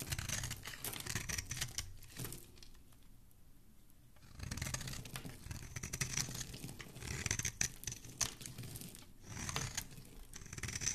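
A solid pink-speckled bar of soap is held in the hand while a dark blade scrapes shavings off its surface. Rapid, dry scraping and crumbly rasps come in bursts with bright, hissy highs. A quieter pause falls around the third and fourth seconds before the shaving resumes.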